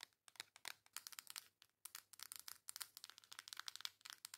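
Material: Cardboard.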